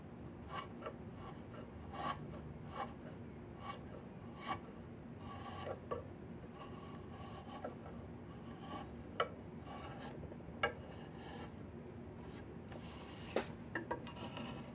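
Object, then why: Diamond willow walking stick. A wooden-handled chisel scrapes and carves along the grain of a long, solid diamond willow walking stick held across the lap. Steady, quiet rasping strokes repeat throughout, broken by short, sharp scraping clicks as the blade bites into the wood.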